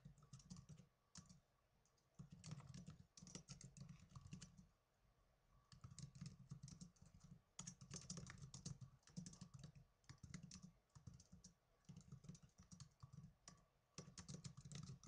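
Two hands type on the plastic keys of a small black plastic netbook, using fingertips and blue-painted nails. Rapid bursts of light, dry clicks with a soft low thump and bright, crisp tops come in runs, separated by short quiet pauses. Each keystroke dies away almost instantly.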